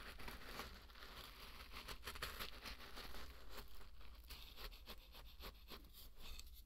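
A flat wooden spatula pushes and stirs through a large, loose bed of dry pearl barley grains. The result is a quiet, continuous scratching and rubbing rustle with bright grainy crackle in repeated bursts, over a steady low hum.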